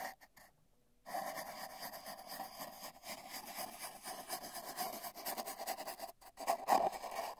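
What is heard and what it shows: A paintbrush's bristles brush and stroke the surface of a long, hollow, spiral-wound cardboard tube with a microphone inside. After a few soft ticks and a brief silence, a steady hollow swishing with a resonant mid-pitched tone runs for about five seconds. It pauses briefly, then resumes slightly louder.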